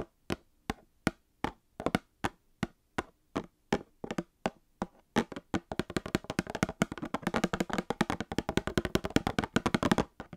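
A small Star Wars cardboard trading card box filled with card packs is tapped with long painted fingernails. Slow, evenly spaced dry taps give way halfway through to fast, dense tapping. Each tap is a short, dull knock with no ring.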